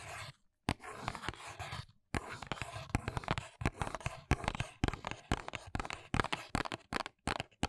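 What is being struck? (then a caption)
Paperboard box. Long nails tap and scratch the back of a small white printed paperboard box, a press-on nails package held in the hands. Crisp, dry taps land in quick irregular bursts over a steady scratchy rustle, with a few brief silent pauses in between.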